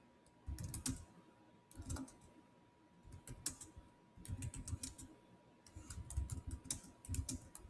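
Fingertips type fast on the solid keys of a black plastic chiclet keyboard on a silver Samsung laptop. Quick runs of soft, low-thudding keystrokes with bright clicky ticks come in bursts separated by short pauses. A faint steady tone hums underneath throughout.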